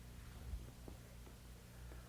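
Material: Nothing is struck.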